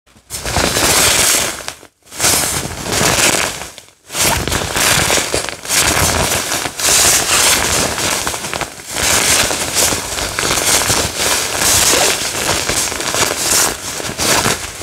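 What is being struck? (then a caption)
Padded nylon fabric jacket. A soft, pink floral-print padded nylon jacket is scrunched and rubbed with fingertips and short nails close to the mic. It makes a dense, bright, crackling rustle that runs almost continuously, with brief silent gaps near 2 and 4 seconds.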